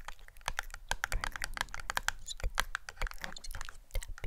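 Long nails tap rapidly on a small, hollow, rectangular red and white printed cardboard cosmetic box held in one hand. The result is a quick, irregular run of dry, clicky taps with bright ticks near 1.6 kHz over a soft, hollow low thump, each tap dying away almost at once.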